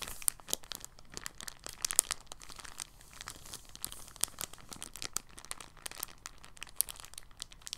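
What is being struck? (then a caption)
Thin polyethylene bag. A thin, clear, empty polyethylene bag is crinkled in the hand, then laid flat on a table and folded and pressed with fingertips. The result is a steady stream of soft, bright, crackly crinkles with sharp little snaps scattered throughout and almost no low end.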